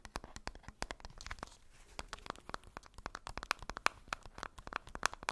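A ball wrapped in thin polka-dot tissue paper is held in both hands and scratched and crinkled with long nails. Dense, rapid crackles and crisp crinkling snaps come in quick irregular bursts, bright and papery with little low end. Each crackle stops dead with no ring.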